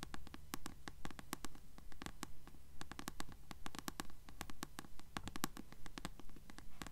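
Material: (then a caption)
Paper. Long acrylic nails tap and scratch the glossy paper cover of a small mass-market paperback, Lady Knight, held upright in both hands. Quick, fairly steady dry clicks of about two per second ring only briefly, with soft scratching and a low rumble underneath.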